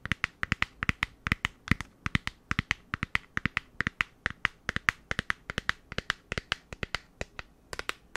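A rectangular pink printed cardboard lip-product set box with a clear plastic window, holding the products, is held in both hands and tapped and scratched with long nails. About 48 quick, dry, bright clicks ring out in a steady rapid rhythm, peaking near 1.9 kHz with a faint scratchy texture between them. Each tap dies away instantly with no ring.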